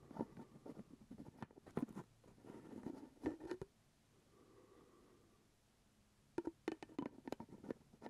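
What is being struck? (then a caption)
Glass jelly jar with plastic screw lid. Fingertips and nails tap and scratch the top of the purple plastic screw lid on a small, full glass jar of grape jelly held up close. Quick, dull, mid-low plastic taps come in bursts mixed with scratchy rubbing. A soft, quiet scraping lull in the middle gives way to another run of sharp taps.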